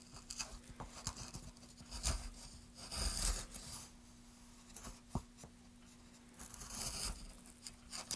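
A gouge scrapes and carves along the edge of a solid, light wooden plank, making bursts of dry, rasping scrapes with bright, hissy texture and a few sharper catches of the blade. A faint, steady low hum runs underneath throughout.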